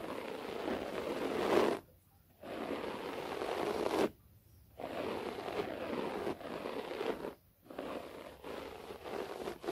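Long nails scratch the fibers of a low, cream-beige short-pile floor carpet laid over a flat solid surface, alternating hands. The result is dry, brushy, rasping scratch bursts with a mid-range hiss, separated by brief silent pauses.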